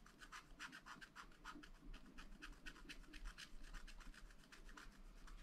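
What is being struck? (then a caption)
Black-coated scratch-art paper scratched with a wooden stylus. A wooden stylus scratches and fills in areas on a black coated sheet from a scratch-art paper pad. Quick, repeated rasping strokes sound bright and dry, with a steady scribbling rhythm at a quiet level.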